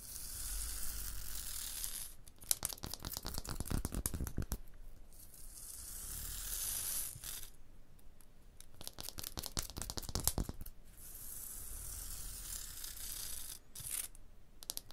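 Long blue nails scratch the tool-striated, porous surface of a textured stone block wall, giving a bright, gritty rasp. Dense bursts of quick scrapes and clicks alternate with softer, steady hissing strokes across the stone.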